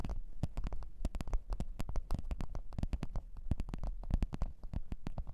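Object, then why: Leather microphone case. Long orange-red nails of both hands tap and scratch a black leather (likely faux) microphone case lying on white fur. The result is a dense, rapid run of short, dry clicking taps with a soft, low, thumpy body, each stopping almost at once, over a faint scratching hiss.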